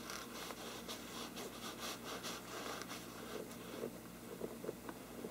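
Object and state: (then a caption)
Parchment paper lampshade. Fingernails of both hands scratch the upper sides of a large, hollow, thin-walled bell-shaped lampshade with a mottled parchment-like paper surface. The result is a quiet, steady, dry scratching with bright, papery rasps that pulse in short strokes, and a few soft ticks toward the end.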